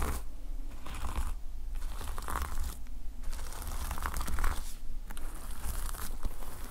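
Fingers and nails scratch and brush across the red and black plastic sequin fabric cover of a notepad lying flat. The result is a dry, crinkly scraping that comes in waves, with brief pauses between strokes, over a steady low rumble.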